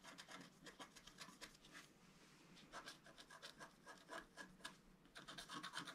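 A wooden stylus rubs and scratches the coating near the bottom edge of a flat, black-coated scratch-art card, about A4 in size, lying on a table. Quick, dry, bright scraping strokes come in irregular bursts, with a short quiet pause partway through before the strokes pick up again.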